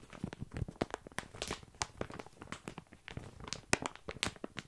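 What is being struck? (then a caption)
Plastic bag of small dry pasta. A full plastic bag of tiny dry pasta is scratched and squeezed by fingertips close to the mic. Dense, crisp crinkles and sharp ticks repeat as the pasta shifts and rattles inside. Brief broadband bursts run from low thumps to bright clicks.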